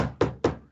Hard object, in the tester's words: Som maciço é aquele som duro.